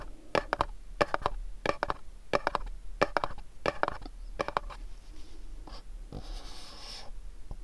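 A fingernail taps on the top and sides of a small, cube-shaped, dark printed cardboard candle box held in the hands, making short, dry, hollow clicks in quick clusters of two or three at a steady, unhurried pace. After a brief pause, the nail scratches across the cardboard in a soft, papery rasp, ending with one last light tap.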